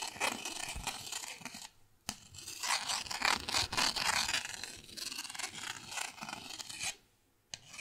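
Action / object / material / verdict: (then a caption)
scrape / small plastic paddle with a grid-textured face / plastic / none. A purple pen tip is scratched and rasped across the grid-textured face of a small, flat, thin, solid green plastic paddle held by its handle. The result is a bright, dry, rapid rasping scratch, broken by two brief silent pauses and resuming with a sharp scrape after each.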